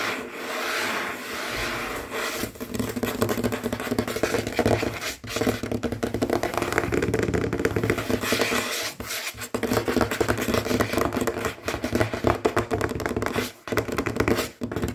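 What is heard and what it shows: Short natural fingernails and the fingertips of both hands quickly tap and scratch a large, solid, dark glossy wooden tabletop, possibly wood veneer. The result is a dense, rapid stream of dry taps and raspy scratching, mostly in the mids with some bright edges. The stream runs almost continuously, with only brief pauses between bursts.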